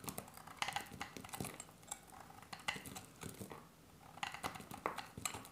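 A solid olive-green bar of dry soap is held in the hand and sliced with a metal utility blade, giving rapid, crisp cutting clicks with bright, brittle edges. The short scraping snaps come in quick bursts with brief pauses between them and almost no ring.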